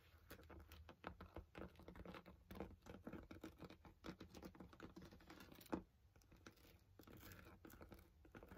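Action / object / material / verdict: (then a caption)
tap / padded nylon fabric carry bag / nylon fabric / none. Fingertips tap and lightly scratch the top flap of a medium-size black padded nylon Celestron binocular carry case, likely with binoculars inside. It makes rapid, soft, muffled pattering taps mixed with faint fabric scratching, low and dull with little brightness, and one firmer tap stands out near the end.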